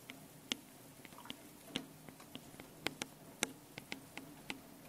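Long painted nails tap and scratch the two metal mesh microphone capsules on top of a small handheld Tascam recorder. Around fourteen sharp, bright, dry clicks land at an uneven pace, with faint scratchy rustling between them. Each click dies away almost instantly over a quiet, steady low hum.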